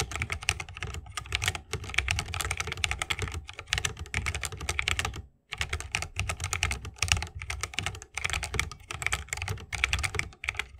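Fingertips of both hands type continuously on a 60% mechanical keyboard with plastic keycaps and Holy Panda tactile switches, set in a bamboo wooden case. Rapid, crisp keystrokes give bright clacks over a deeper, hollow thock, with a few brief pauses, including a short gap near the middle.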